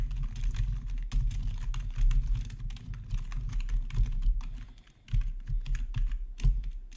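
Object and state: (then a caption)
Plastic keyboard being typed on. Fingertips type steadily on a black plastic RGB backlit gaming keyboard, with one hand briefly on the numpad. The result is a fast, continuous stream of short, dull plastic clacks with a thumpy low end. The typing dips into a short lull near the five-second mark before picking back up.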